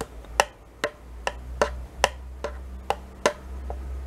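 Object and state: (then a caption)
Spoon tapping a plastic yogurt cup. A metal spoon scrapes and taps inside a small, thin plastic yogurt cup held in the hand; the cup is mostly empty with residue. Eight short, sharp, bright ticks sound at a loose, uneven pace, each dying away almost instantly, over a faint low hum.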